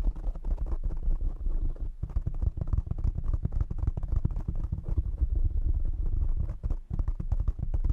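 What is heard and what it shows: Fingertips tap rapidly on the sides and top of a black foam windscreen fitted over a condenser microphone. The result is a dense, continuous stream of muffled, boomy low thumps centered around 90 Hz, with almost nothing bright above.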